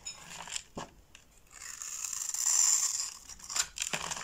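A box-cutter blade scores lines into a solid white bar of soap held in the hand, then shaves its surface. Sharp, bright ticks and scratches open the clip, followed by a steady, crisp shaving rasp that swells and fades before a few more bright clicks.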